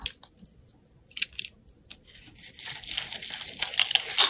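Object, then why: Bar of soap. A craft knife blade scrapes across a small, solid cream-white soap bar held in the hand, raising fine shavings. Sparse, bright crisp scratches and ticks in the first half build into a denser, louder, continuous crunchy scraping toward the end.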